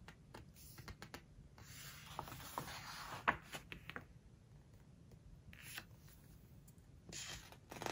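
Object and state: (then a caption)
Glossy book pages being rubbed and turned. Fingertips rub the glossy paper pages of an open book, then turn a page. Soft, bright brushing hiss swells and fades, broken by quick papery ticks and a sharper crinkle as the page moves.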